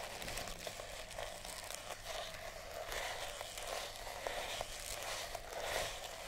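Long nails scratch along the coils of a pink and purple sisal rope-wrapped cat toy. The result is a steady, dry, bright rasping with faint crinkly clicks, staying low in level throughout.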